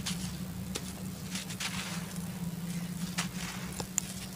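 Bare hands crumble and rub a fist-sized, solid, dry clod of red laterite dirt, letting the grains fall onto a loose pile of the same red dirt on the floor. A steady, grainy crumbling patter is heard, dotted with a few sharper, bright crackles over a low, constant hum.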